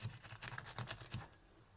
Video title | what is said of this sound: Fray Bentos All Day Breakfast Pie in the air fryer! 🥧🔥 #FoodieLife #BritishFood #FoodReview | You can hear how crispy that pastry is.